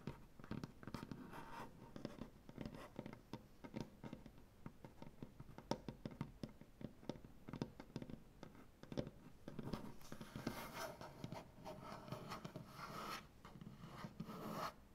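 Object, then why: Maple butcher block tabletop. Long nails scratch and rub across a large, solid maple butcher block tabletop with both hands. It makes a quiet, dense run of dry, short clicks and scratchy strokes centered low in the wood. After about ten seconds it shifts into steadier, brighter rubbing that carries on to the end.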